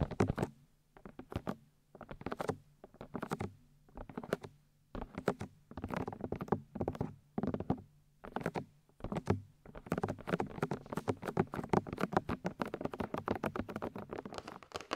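Long white nails tap and scratch the white silicone ears of a 3Dio binaural microphone, making soft, muffled, close-up tapping and scratching. Bursts of quick taps come in short clusters separated by brief pauses, then turn into a dense, continuous patter for the last several seconds.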